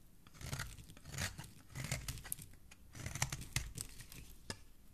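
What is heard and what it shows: A metal blade scrapes and shaves a partly carved-out solid green bar of soap into curls. It makes quiet, dry, crinkly scraping strokes in uneven bursts, with a soft low body under a bright, papery rasp.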